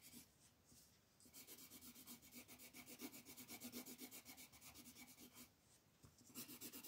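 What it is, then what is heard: Colored pencil on paper. An orange wooden colored pencil, gripped in a fist, scratches and rubs back and forth over a flat white paper coloring page lying on a table. Quick, steady scribbling strokes, about four per second, make a bright, dry rasping hiss. The strokes ease off briefly near the start and again toward the end before resuming.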